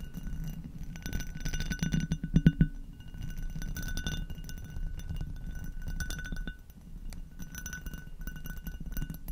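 Long acrylic nails tap and scratch the bumpy bowl and stem of an empty, hollow amber hobnail glass goblet turned upside down over a fluffy-covered microphone. Quick, dry clicks and rasping scratches sit over a low, muffled body, with faint glassy ringing above. A louder cluster of taps comes just before the midpoint, then the scratching settles back to a steady level.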